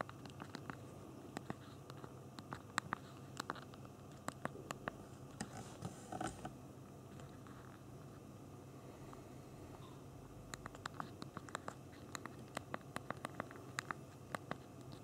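Thumbs press the hard plastic QWERTY keys of a small BlackBerry Q10 phone held in the hands, typing and sending a message. Quick, dry, sharp clicks come in bursts over a low, steady background hum. The clicks thin out to a lull in the middle before the rapid tapping resumes.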